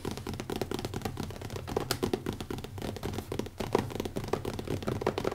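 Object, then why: Leather-covered hardcover notebook. Fingertips of both hands tap fast on the cover of a small, closed, black leather-covered hardcover notebook with an elastic band, resting on a wooden table. The result is a quick, uneven patter of soft, dull taps that are mostly low and mid in tone, with very little brightness. Each tap dies away almost instantly.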